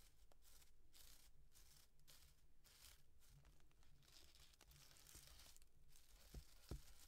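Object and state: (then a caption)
Paper llama piñata. Long dark-painted nails scratch and tap a small hollow cardboard llama piñata covered in tissue-paper fringe as it is held up. Quiet, dry crinkling scrapes come in quick uneven bursts over a steady low hum, and two sharper taps land near the end.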